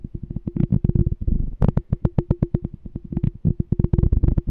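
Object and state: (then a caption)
Glass jar. Fingertips tap and scratch the side of a small, clear, empty glass "Smart Canister" jar with a pink label and a checkered lid, held in one hand. About thirty quick, soft taps land in an uneven rhythm, each a short, dull thump with a faint steady tone and almost no ring. A brief stretch of scratching fills a gap partway through.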